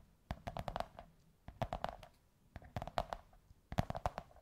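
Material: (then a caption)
Cardboard. Long white nails scratch and tap the top surface of a large beige kraft cardboard tube. Four quick bursts of dull, hollow taps with a slight tonal ring stop almost instantly, separated by brief pauses filled with soft scratching.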